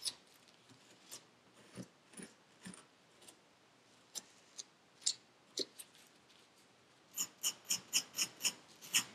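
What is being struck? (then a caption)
Kinetic sand packed in a paper cup. A metal needle tool with a wooden handle scratches the surface of purple kinetic sand packed into a paper cup. It makes short, bright, crisp scraping crunches, scattered at first and then coming in a quicker, steadier run at the end, over a quiet background.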